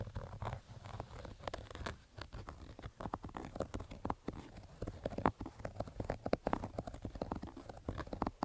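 Fingers and nails scratch the crown of a black Adidas baseball cap made of stitched fabric. The result is a dense run of quick, dry scratches and soft taps, muffled and mostly low-to-mid in tone, over a faint steady low hum.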